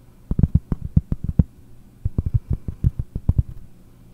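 A round solid cork board held close to the microphone is tapped with long painted nails, giving about 20 soft, dull, low thuds in two quick runs with a single tap at the end. Each tap dies almost instantly with no ring, over a faint low hum.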